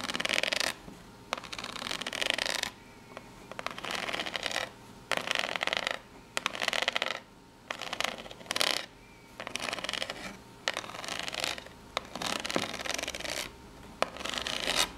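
Long nails rub and scratch along the ridged surface of a small corrugated cardboard box, making a bright, papery rasping. The scratching comes in repeated short bursts separated by brief quiet gaps, with almost no low end.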